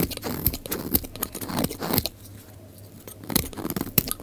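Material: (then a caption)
Soap. A utility knife blade shaves flakes off the face of a solid oval pink bar of dry soap held in the hand, thinning the bar down. Dense, crisp scraping crackles and sharp bright clicks fill the first two seconds, then fall to a quiet lull before the shaving picks up again.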